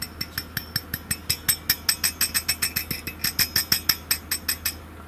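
Vacuum tubes (valves) in a vintage 1982 amplifier are tapped repeatedly, giving a quick series of bright, rattling clinks with short ringing over a steady low hum. The tubes sound very rattly and are suspected to be microphonic enough to affect performance.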